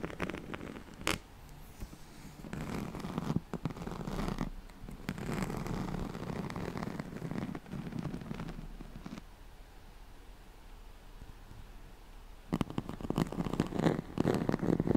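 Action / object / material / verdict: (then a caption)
scrape / woven straw-like fabric mat / woven fibre / none. Long nails scratch along the ribbed weave of a yellow striped, woven, straw-like fabric oval pad. Dense, low rasping strokes come in bursts, fade to a faint scratching in the middle, then return louder and choppier at the end.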